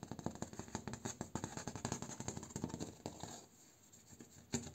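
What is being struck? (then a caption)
Bamboo slat door. Fingertips and short nails scratch and tap rapidly across the slats of a bamboo slat door, with the hand moving close to the microphone. Quick dry clicks and scratchy rasps run steadily for about three seconds, then fade into a quiet stretch before one last louder burst of taps near the end.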